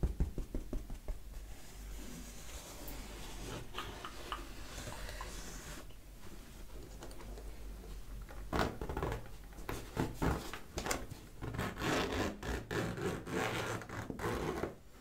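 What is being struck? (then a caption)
Canvas fabric toiletry bag. Fingertips and nails scratch and rub across the front of a medium green and dark grey canvas-like zippered toiletry bag with a Bulldog label, held up and looking empty or soft-filled. The result is a steady run of soft, dry scratching and rustling with low thumps, broken by sharper bursts of quick, close-up scratches.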